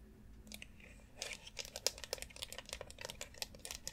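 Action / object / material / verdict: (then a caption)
tap / plastic foot massage board / plastic / none. Long acrylic nails tap and scratch the rounded nubs of a white plastic foot massager board with a central dome, lying flat on dark fabric. Quiet, bright, crisp clicks come in a rapid, irregular patter, mixed with dry scratching and crinkly scraping over a soft low hum.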